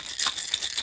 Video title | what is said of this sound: Just messing in the workshop new jars | you get a good old rattling